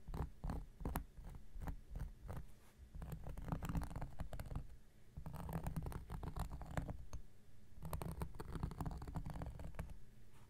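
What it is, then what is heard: Cork coaster scratched with a knife. A large, round, flat coaster of solid cork lies on a surface, held steady by one hand, while an X-Acto knife blade scratches across its face. The result is a dense run of short, dull, low scraping strokes. They come in three bursts with brief lulls between, and each stroke dies away almost at once.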